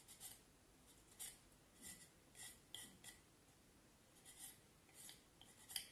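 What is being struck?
Vine wood stick.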